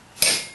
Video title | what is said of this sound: Blacksmithing with Uncle Buck part 1 | fits down in there nice and tight you just give it a tap and it's solid as a rock